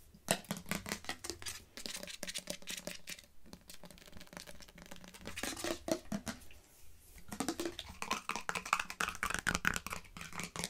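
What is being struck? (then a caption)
Plastic bottle holding liquid. A hollow teal plastic nail polish remover bottle that appears to hold liquid is held in the hands and tapped with long fingernails, with some shaking and turning. Fast, bright, clicky taps and scratchy rustles come in quick bursts, with a brief lull around the seventh second before the rapid tapping picks up again.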